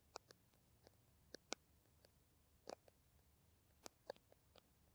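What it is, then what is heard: Plastic hand cream tube tapped with nails. Long nails tap a small green plastic Kamill hand cream tube. About eight quiet, irregularly spaced, short dry clicks with almost no ring sound over a near-silent background.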